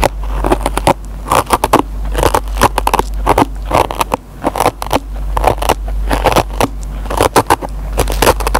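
A metal pen tip picks and scratches at the fibers of a dry yellow foam kitchen sponge with a green nylon scouring pad. Dozens of short, crackly scraping bursts come in quick, uneven clusters over a steady low hum. Each scratch is dry, gritty and mid-toned, stopping instantly with no ring.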